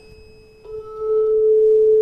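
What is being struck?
Nothing is struck.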